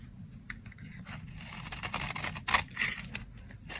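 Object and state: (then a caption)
Dry soap bar scraped with a blade. A dry, solid brown soap bar held in hand is scraped with a box-cutter blade into fine shavings. The result is a run of quiet, dry, bright scraping and shaving strokes, irregularly spaced, with one louder scrape near the end.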